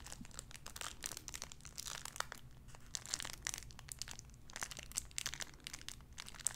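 A clear cellophane wrapper around a small sun-shaped figure is crinkled and scratched with fingernails. Dense, bright crackling and crisp rustling run throughout, with many sharp, quickly decaying snaps and little low-end body.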